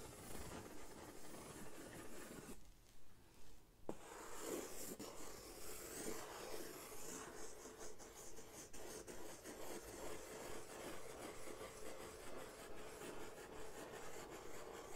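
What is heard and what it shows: A large, flat brown corrugated cardboard sheet is held upright in one hand while the other hand draws and scratches scribbles across its surface with a marker tip, with the pen coming into use from the middle of the clip onward. The result is quiet, steady rubbing and scratching in rhythmic strokes, with a brief softer gap early on before a continuous, hissy scribbling texture takes over.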